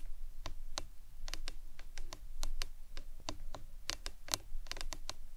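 Long acrylic nails tap a hollow printed plastic lemonade tumbler cup with a green lid, lying on its side on a towel. The irregular, quick, dry clicks are short and bright, with almost no ring, over a steady low rumble.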